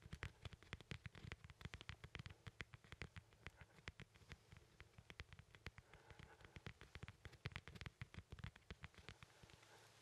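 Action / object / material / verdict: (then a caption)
tap / whole fresh lemon / citrus peel / none. A small, solid, whole fresh yellow lemon is held in one hand and tapped and scratched with the fingertips of the other hand. Quick, dense, soft taps give short dull thumps with bright crisp clicks, over a faint scratchy rustle. The level stays quiet throughout.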